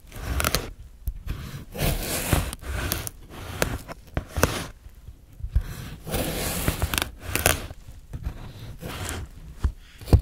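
A fresh, solid green cucumber is sliced into thin rounds with a steel knife on a white plastic cutting board. Crisp, bright slicing strokes come in a steady series, each ending in a short, low knock of the blade against the board.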